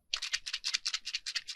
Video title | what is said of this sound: #roxysweeklychallenge 2023 week 15 Gelli Printing? | it sounds solid yeah guys that's like a solid chunk of paint in there